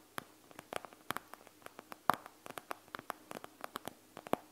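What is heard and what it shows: Long nails scratch rapidly over a panda gel bead eye mask with a clear plastic shell filled with gel beads. The result is a quick, irregular run of sharp, dry plastic clicks and ticks, bright and crisp and centered near 1 kHz, each dying away almost instantly. A faint steady low hum sits underneath.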